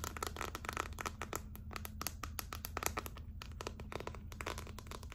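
Long nails on both hands scratch and tap the back of a hollow, clear plastic phone case filled with gold glitter. The result is a rapid, dense run of sharp, bright clicks and crinkly scratches over a steady low hum.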